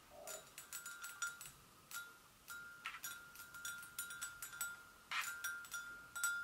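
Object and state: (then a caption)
Porcelain gravy boat. Long nails gently tap the sides of a hollow, empty white porcelain gravy boat. The taps come in an irregular stream of bright, clicky strikes, each with a brief ring that holds a steady tone near 1.4 kHz and fades within a fraction of a second.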